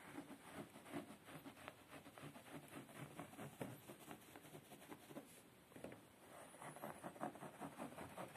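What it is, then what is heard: Upholstered fabric chair seat. Fingertips and short nails scratch and tap on a beige woven fabric padded chair seat. The result is a quiet, continuous patter of soft, dull scratches and light taps in an uneven rhythm, with a muffled low-mid tone and no ring.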